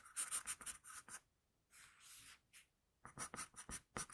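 An HB wooden pencil held in the fingers sketches on a flat sheet of drawing paper, its graphite strokes scratching across the surface with a bright, high, papery rasp. Quick bursts of strokes give way to a short pause and a few softer, longer strokes, then another run of brisk scratches.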